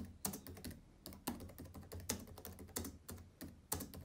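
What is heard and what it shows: Fingertips type and tap on the plastic keys of a black laptop keyboard. A quick, uneven run of soft clicks comes through, some sharper and brighter than others, each fading almost at once. A steady low hum sits underneath.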